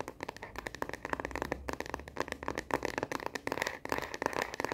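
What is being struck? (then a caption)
Plastic phone case on a smartphone. Long nails tap fast on the back of a smartphone in a frosted plastic star-print case, held horizontally in both hands. The result is a rapid, continuous stream of short, dry plastic clicks centered around 940 Hz, with little low end and almost no ring.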